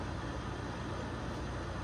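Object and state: Nothing is struck.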